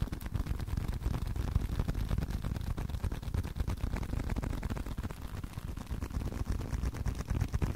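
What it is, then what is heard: Leather card wallet. Continuous tapping on a leather card wallet produces a fast, uneven stream of soft, dull taps. The sound is deep and muffled, with almost no high end, and each tap dies away at once.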